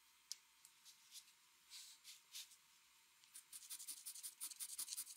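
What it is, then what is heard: Pencil sketching on drawing paper. A metal mechanical pencil sketches lines on a flat white drawing paper sheet resting on a desk, making quiet, bright scratching and rubbing strokes. A few slow, spaced strokes come first, then the scratches turn quicker and denser toward the end, about sixteen short strokes in all.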